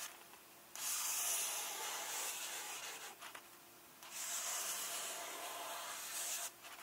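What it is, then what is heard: Fingertips rubbing glossy book paper. A fingertip and nail slowly rub and trace over a glossy illustration page of an open hardcover book while the other hand rests on the text page. Two long, bright, hissing strokes of sustained friction rise out of a quiet background, each lasting about two to three seconds.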